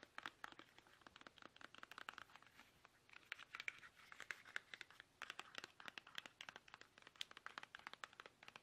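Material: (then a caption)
Plastic. Fingertips tap fast and hard on a plastic toothpaste tube, producing a steady stream of dozens of short, dry clicks and crinkly taps. The sound is bright and thin, with almost no low end, and each tap dies away almost instantly.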